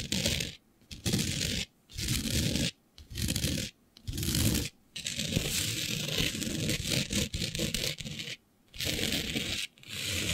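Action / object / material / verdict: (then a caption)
scrape / glitter-coated fabric sheet / glitter fabric / none. Long nails scratch a flat sheet of black fabric covered in fine green glitter, making rough, bright scraping strokes with a low rustling body. The scratching comes in bursts of about a second separated by brief silences, then runs as a longer continuous stretch before resuming its short strokes.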